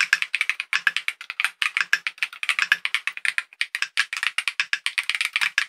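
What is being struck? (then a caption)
Mechanical keyboard with acrylic case and plastic keycaps. Fingertips of both hands type rapidly on a compact KiiBOOM Phantom 68 mechanical keyboard, with a hollow clear purple acrylic case, clear plastic keycaps and tactile switches, resting on a desk. The result is a fast, steady stream of short, crisp clacks that stop almost instantly. The tone is bright and hollow, centered around 1.6 kHz, with plenty of high sparkle and almost no low end.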